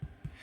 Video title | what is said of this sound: "Crispy Crust, Airy Inside: Perfect Bread Every Time" [] Homemade [] Delicious [] #@ComfyFoodsbyKas | if you tap it makes a hollow sound then you know your bread is done